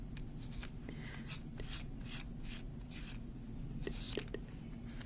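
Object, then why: Wooden abacus with beads on rods. A small wooden-frame abacus with rows of colorful round beads on rods is held in both hands while long nails slide and click the beads along the rods and tap the frame. Soft, bright swishing slides alternate with sharp, short clicks over a steady low background hum.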